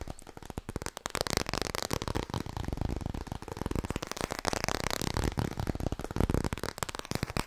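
Fast tapping on the hardcover of the book 'Klaar voor bed' makes a steady stream of rapid, dull knocks. The taps are short and dry with no ring, heavy in low thud and carrying a light papery click on top.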